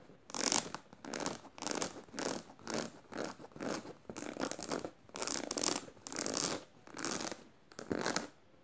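Fingernails scratch the black canvas fabric between the metal studs of a studded tote bag. Short, dry, raspy strokes come in a steady run of separate bursts with brief pauses between them, bright and hissy with almost no low end.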